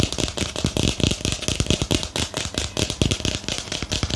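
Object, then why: Small ceramic planter pot. A small hollow white ceramic planter with a lace-pattern rim is held in the hand and tapped on its side with fingernails. The result is a fast, steady stream of short, dry clicks, each with a low hollow knock and a bright edge that dies away almost at once.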